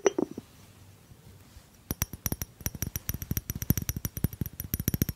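Fingertips tap the cork lid and the body of a small, hollow white ceramic jar with a blue rim while it is held. A few soft taps open the clip, then a brief quiet, then a fast, steady run of short, dry clicking taps with a faint bright ring.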